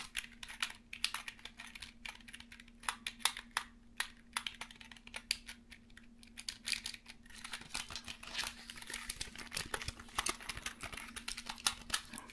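A small black plastic USB numeric keypad, its cable attached, is held in the hands while fingertips tap and press its keys. The result is a quick stream of short, bright, dry typing clicks over a faint steady low hum, growing busier and more continuous in the second half.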